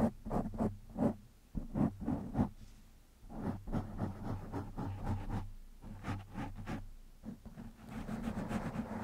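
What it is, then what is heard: Foam microphone windscreen being scratched. Fingertips of one hand scratch the black foam windscreen on a microphone, making irregular bursts of close, scratchy rustling. A low, steady hum runs underneath, and the scraping grows busier and brighter toward the end.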